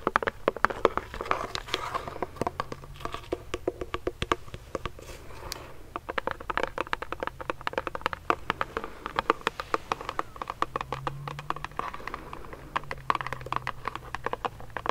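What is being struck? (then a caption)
Plastic pump bottle filled with gel. Fingernails rapidly tap and scratch on a medium-sized clear plastic hand sanitizer pump bottle filled with gel. A dense stream of short, dry, sharp clicks comes with brief scratchy rasps, mostly in the mid range over a faint low hum. Each tap dies away almost instantly.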